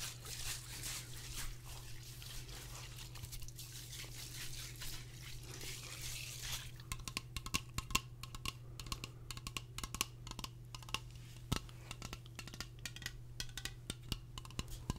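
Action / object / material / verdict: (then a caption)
tap / aluminium aerosol spray can / aluminium / none. A medium-size aluminium aerosol air freshener spray can with a printed label, hollow with pressurized contents, is held near the mic and tapped on its metal base and body with fingertips and nails. The first few seconds carry a bright, scratchy texture, then many quick, sharp taps follow, each with a brief metallic ring near 1 kHz. A steady low hum runs underneath throughout.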